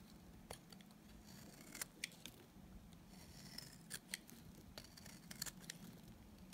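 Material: Soap.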